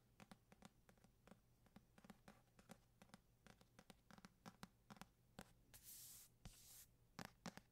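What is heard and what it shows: A medium paperback copy of East of Eden, with a paper cover and a solid stack of pages, is held close and tapped and scratched on the cover with fingertips and short nails. Quick, dry, soft taps come in an uneven series over a faint low hum, with longer hissy scratching strokes near the end.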